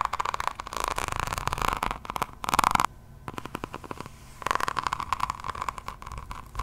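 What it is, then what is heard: Diamond painting notebook with resin rhinestone cover. Long acrylic nails scratch across the cover of a hardcover diamond painting notebook, which is densely set with small faceted resin drills in a floral pattern, held close to the mic. Dense bursts of crisp, crackling scratches and clicks come and go, with a quieter patch of lighter ticking in the middle. A steady tone near 1 kHz runs underneath throughout.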